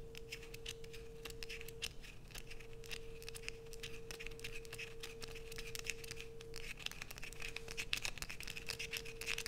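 Long nails scrape curls of soap off a solid light-blue bar of soap held above a dark sheet, and the curls fall below. The result is a dense, quiet run of crisp, bright scratches and rapid clicky ticks, with a steady faint tone near 470 Hz humming underneath throughout.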